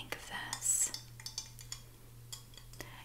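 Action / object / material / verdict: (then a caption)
tap / ceramic teapot / ceramic / none. Long painted nails tap and scratch the handle and body of a medium white ceramic teapot with a yellow lid, hollow and apparently empty and held by its handle. Sharp, bright clinks and brief scrapes sound at an irregular pace over a steady low hum.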